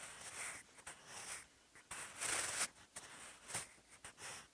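A sharpened wooden pencil with a graphite tip writes Korean characters on cream textured writing paper with faint ruled lines in a bound notebook lying flat and solid on a surface. The graphite scratches steadily in bright, hissy strokes with brief pauses between them, with little low-end and a quiet overall level.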